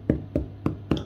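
A homemade walnut spelt bread loaf, baked for 25 minutes, is tapped four times, giving short, dull, hollow knocks with little ring. The hollow sound shows the loaf is done, and inside it is well aerated and very light.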